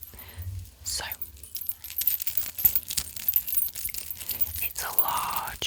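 A large, old all-metal chain piece of jewelry, a lattice of clover-shaped rings with dangling metal balls and partly tarnished, is handled and shaken. Its dangling parts give a bright, irregular run of quick metallic chimes and jangles with very short ring. Low hum and murmur sit underneath.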